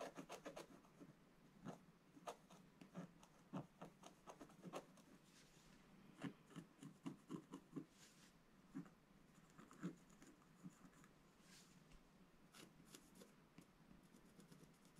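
A wooden stylus scratches across the upper area of a flat, black-coated scratch art sheet. The result is a quiet string of short, dry scratching strokes and taps. Many of them are distinct, with faint rasping texture between them.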